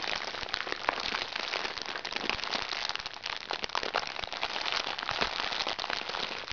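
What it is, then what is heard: Plastic makeup bag crinkling. A small crinkly recycled plastic makeup bag lying flat is squeezed, pressed and scratched by hands. The result is a dense, continuous bright crackling with sharp plastic crinkles and almost no low end.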